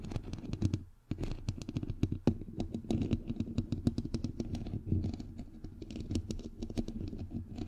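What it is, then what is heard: Metal mesh microphone grille, tapped and scratched. Fingernails tap and scratch across the hollow, white perforated metal mesh grille of a bare microphone head. The result is a rapid, dense run of short clicks and scrapes over a boomy, low-heavy thump, with a brief lull about a second in.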